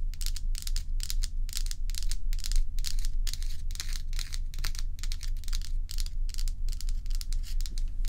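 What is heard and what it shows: Long acrylic nails on both hands scratch and tap a large, solid, bowl-shaped block of ice with a frosty surface. Quick bright scratchy bursts repeat at roughly two per second in a loose, uneven rhythm, with short crisp taps mixed in. A steady low hum runs underneath throughout.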